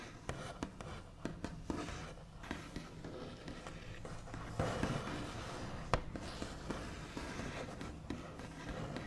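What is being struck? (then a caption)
Wooden table top. One hand taps the backs of its nails on a large, solid, smooth white-finished wooden table top. Short, dry, quiet taps with a low body die away almost at once, over a soft, steady rustle between them.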